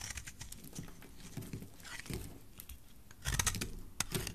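A solid rectangular yellow soap bar held in the hand is sliced and scraped with a utility knife blade. Soft, dry scraping and crisp little cutting ticks patter along with a bright edge, growing louder and denser toward the end as the blade bites deeper into the soap.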